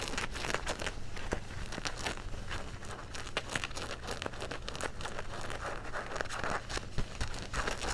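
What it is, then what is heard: Denim jeans being scratched. Fingertips and nails scratch the back pocket of dark blue denim jeans held upright. The scratching is a dense run of rough, crackly scrapes and sharp bright flicks, with a steady low hum underneath throughout.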